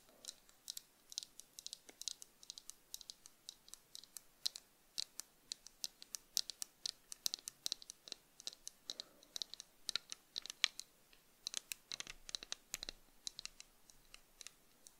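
Long acrylic nails tap and scratch the tortoiseshell plastic frame and brown tinted lenses of small, hollow-framed cat-eye sunglasses held in both hands. The result is a quiet, rapid, irregular stream of many sharp, bright clicks with almost no ring and little low end, plus occasional soft scratchy rubs.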